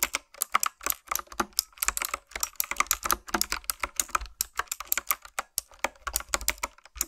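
A black retro typewriter-style plastic mechanical keyboard with round keys is typed on with long nails and fingertips. The result is rapid, uneven runs of short, crisp clicks and clacks with a bright, tapping top and very little low end.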